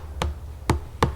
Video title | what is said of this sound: ASMR * Tapping & Scratching * Whispering * Fast Tapping * ASMRVilla | I found it had some really lovely scratching sounds and tapping sounds